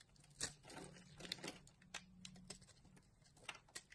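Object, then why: Solid bar of soap cut with a knife. A utility knife carves a solid green bar of soap, lifting strips and shavings off its surface. Crisp, bright scraping and crackling cuts come in quick, uneven bursts with sharp clicks, over a faint steady low hum.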